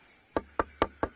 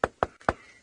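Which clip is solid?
The first.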